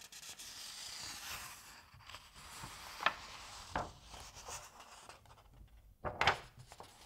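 Fingers lift and flip a paper page of an open Asterix comic album, making a soft, steady papery rustle and rubbing. Several sharper, crisp snaps of the page cut through the rustle, the loudest one near the end as the page turns over.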